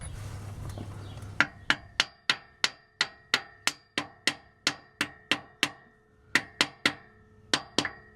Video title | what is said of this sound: Big Block Mopar Replacing Main Bearings in the Car * 1979 Dodge Magnum 383 | you can hear when it's up against there